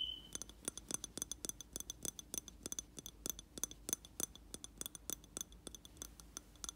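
Fingertips and nails tap the wall of a round glass jar filled with wax, holding a lit candle. A quick, uneven run of sharp, bright clinks follows, each with a brief high glassy ring that dies away almost instantly over a quiet background.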